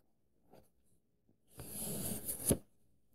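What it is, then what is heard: Paperback book pages. Fingers rub and trace across the paper pages of an open paperback book, making a soft scratchy brush that builds for about a second. It ends in a single sharp, bright page flip before the sound drops back to near silence.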